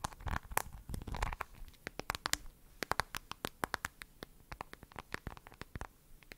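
Long nails tap and scratch the back of a smartphone in a glossy lavender plastic case with a heart and a camera bump. Soft scratching rustles open the clip, followed by a rapid run of short, dry, clicky taps with almost no ring, bright and crisp against a quiet background.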